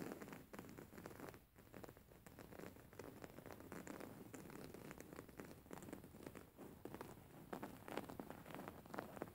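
Fingernails scratch and rub a white cotton cushion with flower embroidery, held upright. The result is a continuous, quiet stream of dense, dry scratching and rustling strokes, warm and low-mid in tone with little high brightness, rising a little louder near the end.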